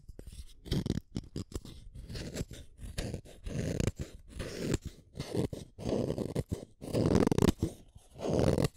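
A yellow wooden colored pencil is turned in a yellow plastic hand sharpener, its metal blade shaving the wood in a series of short, low, crunchy scraping strokes. Brief pauses separate the strokes, and crumbs of lead fall away as the pencil is sharpened.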